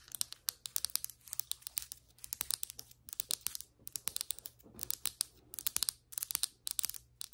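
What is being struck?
Ceramic floor tile.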